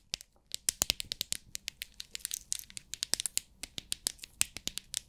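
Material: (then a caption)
Plastic. Long acrylic nails tap and scratch the lid of a small rectangular clear plastic storage box with many compartments full of loose rhinestones, then tilt the box so the stones rattle inside. A rapid run of dozens of sharp, bright, dry clicks and crackles is heard, with almost no low end and no ringing after each tick.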